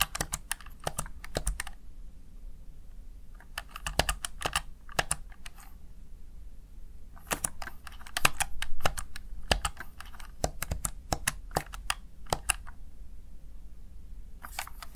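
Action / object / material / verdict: tap / plastic gaming keypad / plastic / none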